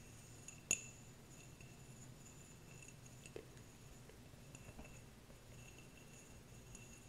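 Fingernails tap and scratch a small, clear, empty glass jar. One sharp, bright clink stands out early, followed by a softer tap and faint scratching against a quiet, steady background hiss. Each tap rings high and dies away almost at once.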